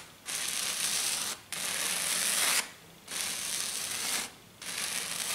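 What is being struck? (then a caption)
Glitter foam sheet. Long dark nails scratch and rub quickly across a flat silver glitter sheet, probably glitter foam. Four long bursts of harsh, bright, hissy scraping follow one another with short quiet gaps, and there is almost no low-end weight.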